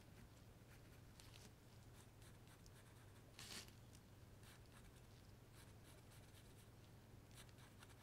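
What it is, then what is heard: Wooden carving blank being marked with a pencil. A pencil marks and rubs lines onto a solid light wood carving blank shaped like a trout, held in gloved hands. Quiet, bright scratchy strokes sit over a steady low hum, with one louder, brighter scrape about halfway through.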